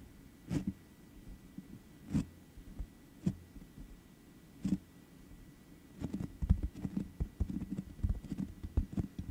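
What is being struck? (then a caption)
Metal mesh microphone grille. Medium-length manicured nails and fingertips of both hands tap directly on the uncovered, rounded perforated metal mesh grille of a black USB condenser microphone with a hollow head. Slow, spaced taps come first, then a quicker flurry of taps. Each lands as a short, dull, low thump with almost no ring over a faint steady hum.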